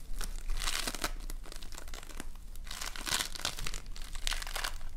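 A fist-sized lump of multicolored foam bead slime (floam) is pressed, pinched and squeezed between the fingers of both hands. It makes dense, bright crackling and crinkling bursts in waves, with a steady low hum underneath.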